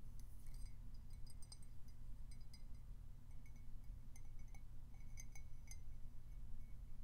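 Fingernails tap the side and scratch the rim of a plain white glazed ceramic footed pedestal mug, hollow and held in the hand. Quiet, bright clinks and ticks sound in scattered bursts over a low, steady hum, each dying away almost instantly.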